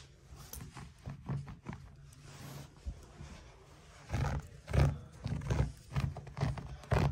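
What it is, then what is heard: Chunky knit yarn bath mat being scratched. Fingertips and nails scratch and rub across the knit loops of a large, chunky braided knit bath mat made of thick, soft orange, white and grey yarn (wool or chenille) lying flat on a surface. The result is a series of low, muffled, irregular scratching and rubbing strokes with little brightness. The strokes grow louder and more pronounced in the second half.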